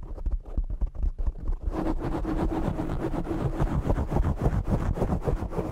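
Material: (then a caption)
Foam. Fingertips and short nails tap and scratch the black foam windscreen on a desk microphone. Muffled, bass-heavy thumps come first, then turn into dense, continuous rubbing and scratching with rapid irregular bumps.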